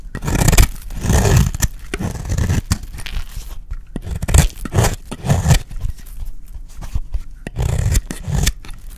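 A solid, dry peach soap bar held in the hand is shaved with a utility blade, peeling off long curls. Repeated rough scraping strokes come in short bursts, heavy in the low end with a dry, crackly texture and little ring after each pass.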